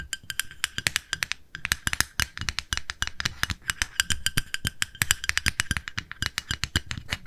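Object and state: Plastic cosmetic jar.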